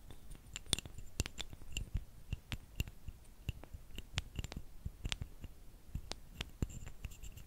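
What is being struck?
Two thin wooden sticks.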